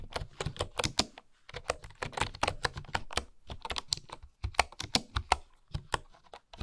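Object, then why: Bamboo wooden keyboard. Fingertips and long nails tap across the wooden keys of a full-size bamboo keyboard in a steady run of typing. Each press gives a short, dry click with a brief woody knock, bright edges and almost no ring, coming in quick bursts with small pauses between them.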